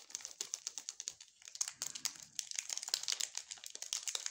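Gloved fingertips hold and crinkle a small, full, sealed Furor chocolate bar in its red glossy plastic wrapper. It makes a quiet run of dense, sharp, bright crinkles, each very short with almost no low end, with a brief lull a little over a second in. The crackling then picks back up more steadily to the end.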